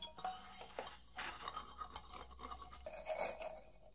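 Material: Wood.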